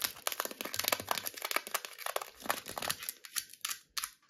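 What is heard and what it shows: A small, hollow, rectangular printed metal tea tin is rapidly tapped and scratched with long red-painted nails. The result is a dense run of quick, bright clicks and scraping crinkles with almost no low end and no ring, trailing off into a few separate taps.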